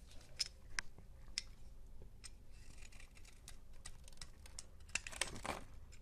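A teal box cutter shaves and scrapes curls off a solid rectangular yellow soap bar with an embossed logo, held in the hand. Sharp, bright scraping clicks and short crisp cuts sound over a quiet low rumble. The strokes end in a denser burst of scraping near the end.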